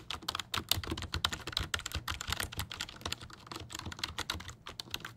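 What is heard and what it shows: A full-size black plastic computer keyboard is held upright beside the mic while its keys are pressed and tapped with fingertips. A quick, irregular run of dry, bright plastic clicks follows, each dying away almost at once with only a faint low thump beneath, ending on a sharper, louder click.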